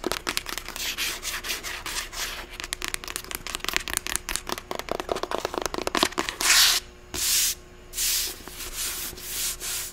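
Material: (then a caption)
Paper. Long acrylic nails rapidly scratch and tap the matte cream cover and spine of a closed, medium paperback novel, *The Sight of You*. The result is a fast, bright, rubbing scratch that gives way to a few longer, sweeping strokes near the end.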